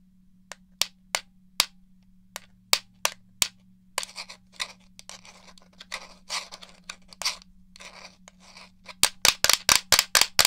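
Fingernails tap and scratch the casing of a hollow black plastic game controller. Eight sharp, bright, separate clicks come first, then several seconds of raspy scratching across the shell. It ends in a quick run of crisp taps, each one dying away almost instantly with a faint steady hum underneath.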